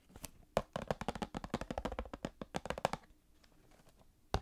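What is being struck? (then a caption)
Small cardboard box filled with card packs. A small Star Wars cardboard trading card box filled with card packs is tapped with long painted fingernails. A rapid run of light, dry clicks and taps with a hollow papery tone runs for about three seconds, then fades to quiet before one last sharp tap.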